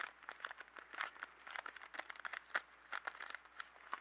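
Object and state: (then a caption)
Cardboard pencil box. A small yellow cardboard box of 12 colored pencils, hollow and filled with pencils, is held up, then tapped and scratched on a table with fingertips and nails. A quick, irregular run of soft, dry taps and crinkly scratches fills the clip, each sound short with almost no ring. Their papery tone sits in the mids with some brightness above.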